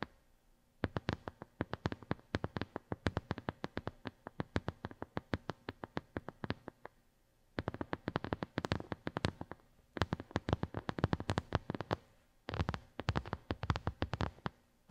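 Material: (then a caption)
Plastic. Long glittery nails tap all over a flat white plastic brush pad with a square grid pattern. The result is rapid runs of short, dry, clicky taps that are weighted toward the low end, with brief pauses between the runs.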